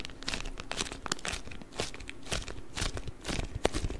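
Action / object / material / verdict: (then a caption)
scrape / rolled beeswax-coated cloth wrap / waxed cloth / none. A rolled beeswax wrap is held across the microphone and squeezed and crinkled with the fingers. The result is a continuous run of crisp crackling and crunching bursts, with bright, sharp peaks over a soft low rumble.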